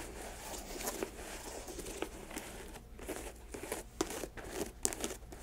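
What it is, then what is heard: Leather sneaker. Long acrylic nails scratch and tap the laces and toe box of an empty white leather Nike sneaker resting on a lap. A steady, soft scratchy rustle is broken by short, sharp, bright clicks that die away almost instantly.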